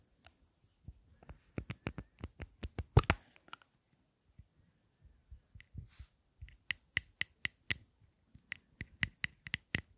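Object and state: Lipstick case tapped with nails.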